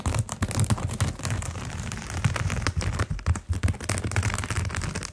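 Fingertips and short nails scratch along the coils of a round, flat, solid coiled jute rope mat. The result is a dense run of quick rasping strokes with a strong low, thudding body and bright crackly texture on top, rising and falling in uneven bursts.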